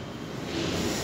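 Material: Nothing is struck.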